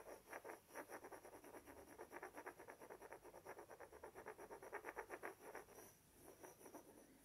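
A pair of small, solid, light wooden blocks is held together in front of the face and rubbed and scratched against each other with fingertips and nails. Quiet, dry scratching strokes repeat in a quick, uneven rhythm with a mid-range rasp. They ease off briefly near the end, then resume more softly.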